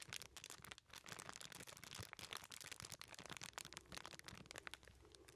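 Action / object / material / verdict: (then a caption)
scrape / small aluminium foil-wrapped package / aluminium foil / none. A small aluminum foil-wrapped package is held in both hands while the fingertips squeeze and crinkle the foil. The result is a dense, continuous stream of quiet, bright, crackling rustles with many sharp little snaps that stop almost instantly, carrying little low end.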